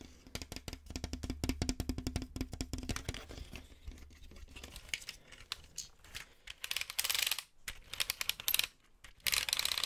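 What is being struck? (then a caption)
Plastic building-brick toy tank. A hand-sized green Cobi-style plastic building-brick model tank of hollow brick construction is held up close to the microphone and tapped and scratched with fingertips and nails along its tracks and sides. Rapid, sharp plastic clicks and taps come first over a faint low hum, then give way to bright, hissy bursts of scratching and rustling.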